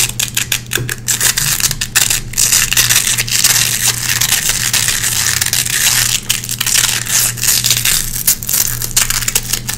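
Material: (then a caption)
Nylon. Long red-painted fingernails scratch the hooks of a small gray nylon velcro hook patch to clean out lint. The result is a dense, bright, crackly scratching made of rapid, rasping strokes over a steady low hum.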